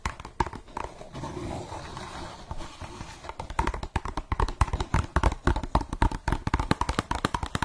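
Long fingernails tap and scratch the side of an empty translucent blue plastic cup held sideways. A softer, continuous scratching in the first seconds gives way to a rapid run of dry, sharp taps with a hollow low thump. Each tap dies away almost at once.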